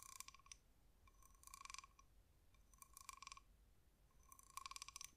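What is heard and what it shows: A small brown spotted cowrie shell, hard, glossy and hollow, is held in the fingers and tapped with long manicured nails. Four quiet bursts of rapid, crisp clicks sound with a hollow tone near 1 kHz and bright upper overtones, each tap dying away almost instantly.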